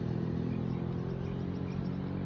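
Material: Nothing is struck.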